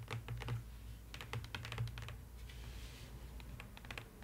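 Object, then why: Paper-lined cardboard box. Long nails tap rapidly on the inner bottom of an open, empty cardboard box lined with polka-dot paper. The result is a quick, uneven run of dry, bright clicks with very short ring, sitting over a steady low hum.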